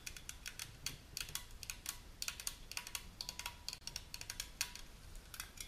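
Long natural nails tap and scratch the top and printed cylindrical body of a small unopened aluminum juice can held sideways. A quick, irregular run of light, bright clicks and short scrapes, each dying away almost at once, with a faint metallic ring under some taps.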